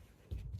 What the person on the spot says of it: when you tap it from outside, it just does a thud